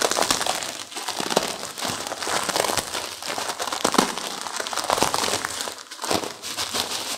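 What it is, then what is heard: Plastic-wrapped instant noodle pack with crushed noodles. Long-nailed fingers squeeze and crumple a plastic-wrapped instant noodle pack with crushed noodles inside. The result is a steady, bright crinkling and crackling of the plastic, with sharper crunchy snaps from the broken noodles and almost no low end.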